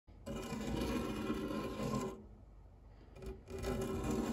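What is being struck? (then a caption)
Metal fluted tart tin scraped with a silicone spatula. A white silicone spatula scrapes and rubs across the flat base of a round, dark non-stick metal tart tin with a fluted rim, empty except for cake crumbs. It makes a steady raspy scrape with a faint low hum and a bright hiss on top. The scrape runs for about two seconds, drops to a quieter rub with a brief flick, then swells into another loud scrape.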